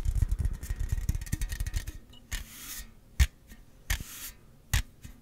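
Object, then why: Aluminum drink can. A slim Celsius aluminum can, held horizontally, is rubbed and scratched along its printed side with fingertips and nails. Quick, dense tapping and scratching in the first two seconds gives way to slower, separate strokes. Bright hissing scrapes alternate with sharp, crisp ticks.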